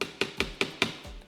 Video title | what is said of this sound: 磁針研磨機│2.0版升級內容│強度示範、說明│Upgraded Magnetic Polisher 2.0 | it doesn't make as much noice and the sound is muffled